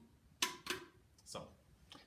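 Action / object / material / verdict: tap / aluminum soda cans tapped with sticks / aluminum / empty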